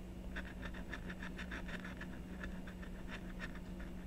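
A blue stylus scratches fine strokes into the coating of a thin, solid black-coated scratch-art sheet resting on a desk. The result is a quick run of short, raspy scrapes with a bright edge, heard over a steady low hum.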